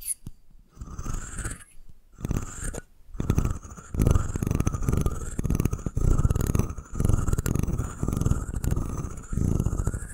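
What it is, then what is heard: Wooden comb scratched and tapped with nails. Long nails tap and scratch the curved top and the teeth of a solid wooden comb held in both hands. Close, dull rasping and scratching come in uneven bursts with short pauses between them, heavy in low rumble with only a faint, thin upper edge.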